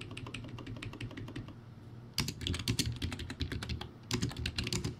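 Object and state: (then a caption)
Plastic typewriter-style keyboard being typed on. Fingertips type on a backlit plastic typewriter-style keyboard with round white plastic keycaps. Soft, steady key clicks over a low, humming bed give way after about two seconds to louder, faster bursts of bright, clattering keystrokes. The typing continues to the end.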